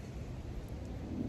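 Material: Nothing is struck.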